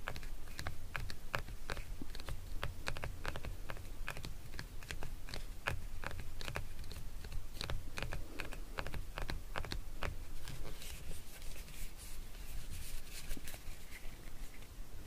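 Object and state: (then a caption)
Plastic neck massager. Fingernails tap and scratch the surface of a hand-sized, solid, lilac hard plastic neck massager held in the hands. A steady run of sharp, dry clicks with very short decay sits over a constant low rumble. Toward the end the taps give way to a brighter, scratchier texture.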